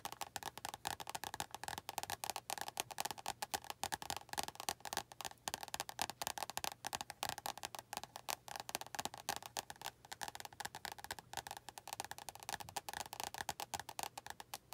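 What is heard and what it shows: Long nails tap rapidly on the glossy card cover of an orange and yellow paperback book held upright. The taps come as a dense, continuous stream of dry, woody clicks with a bright edge that stop almost instantly, each with no ring.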